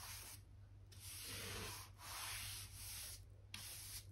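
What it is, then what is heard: Oak plank floor being brushed. A soft natural-bristle hand brush, held in the fingers, sweeps over a solid oak plank floor along a white skirting board, moving light dust. Successive strokes make a bright, airy rubbing hiss with brief pauses between them. A faint steady low hum sits underneath.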